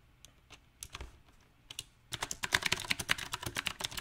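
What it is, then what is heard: Mechanical keyboard with round plastic keycaps. Fingertips type unevenly on a mechanical keyboard with round plastic typewriter-style keycaps set on a silver metal frame. A few scattered key taps are followed by a faster, denser run of typing. The clicks are sharp, short and bright, with little low end.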